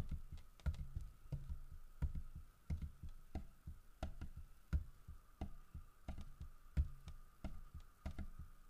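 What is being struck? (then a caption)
Carved wooden bear statue. Fingertips tap on a large, solid carved wooden bear statue holding a fish, striking both the fish and the body. Short, dull, low knocks land at an uneven pace over a faint steady hum, each dying away almost at once.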